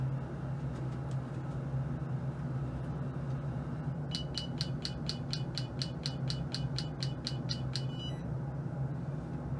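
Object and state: Stable zirconia dental implant.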